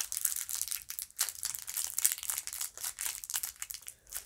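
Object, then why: Lollipop in a cellophane wrapper. Fingertips with long painted nails squeeze a small lollipop on a white stick, wrapped in clear crinkly cellophane with a paper sticker. The wrapper gives off dense, bright crinkling and crackling in quick, irregular bursts with brief pauses between them.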